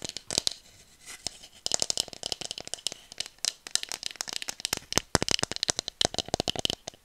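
Long nails rapidly tap and scratch along a hollow bamboo tube about 40 cm long, held horizontally. Dozens of short, dry, bright clicks come in quick clusters, mixed with brief scratchy rasps and almost no low end. The taps stop dead with no ring.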